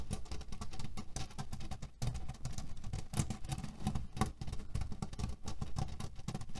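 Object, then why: Cotton pillow filled with cherry pits. Fingernails rapidly scratch and tap on the fabric of a cotton cushion filled with cherry pits, shifting the pits underneath. A dense, steady patter of dull, low clicks and rustles runs throughout, with a brief dip in loudness near the two-second mark.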